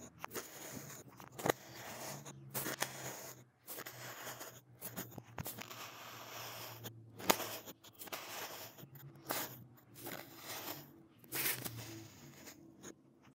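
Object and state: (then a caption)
Kinetic sand being scooped. A gloved hand scoops and scrapes into the edge of a solid, hand-sized pink heart-shaped block of kinetic sand using a metal ice-cream scoop with a pink handle, with crumbled multicolored sand pieces beside it. The clip carries soft, bright crunching and scraping bursts broken by short quiet gaps, with a faint low hum underneath.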